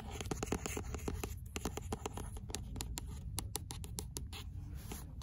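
Long fingernails scratch the rough page edges of an 'L'imaginaire' paperback book and tap on its card paper cover. The result is a quick run of short, dry tapping and scratching sounds with bright clicky edges over a low rumble.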